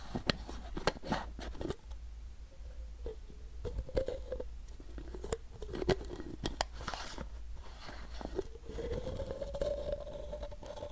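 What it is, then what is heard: Plastic supplement bottle. Fingernails scratch and tap the side of a hollow white plastic supplement bottle with a label and white cap. Sharp, quick clicky taps are scattered among dry, scratchy scraping, over a steady low hum and a faint hollow tone near 500 Hz. Each tap stops almost at once, with no lingering ring.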